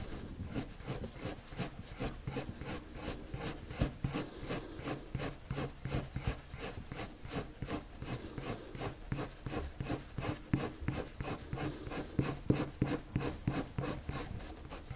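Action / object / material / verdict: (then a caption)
scrape / colored pencil on drawing paper / paper / none. A colored pencil shades a circle on a flat white sheet of drawing paper with quick, short strokes that scratch the paper. The result is a steady, fast rhythmic scratching, about three strokes per second, with bright raspy bursts over a soft low rumble.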